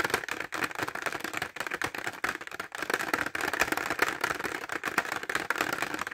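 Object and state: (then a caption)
Plastic pencil case. A clear rigid plastic pencil case full of glitter pencils, held horizontally, is tapped fast with fingertips and short nails. The result is a rapid, dense stream of dry, clicky plastic taps centered in the bright midrange, with almost no low end and very short decay.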